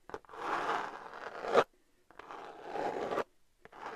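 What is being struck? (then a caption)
Glitter-covered cardboard palette. Long nails scratch the textured surface of a flat, hand-sized, rose-gold glitter-covered cardboard eyeshadow palette. Two long, dry, rasping scrapes, the first swelling to a sharp end, are each preceded by brief ticks and separated by near-silence. A lighter scratch follows at the end.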